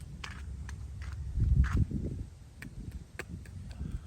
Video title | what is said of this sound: Se San Beach Resort Tour …..1500 Pesos A Night …. Food Was Around 1000 Pesos ….. 2023 | it sounds pretty darn thick